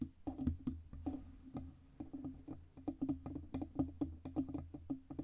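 Long red-painted nails tap and scratch the sides of a black Blue Yeti USB microphone, a hollow metal cylindrical body on a stand with a fluffy windscreen on top. A quick, irregular stream of dry, clicky taps rides over a low, boomy hum, each tap dying away almost at once, with soft scratching between them.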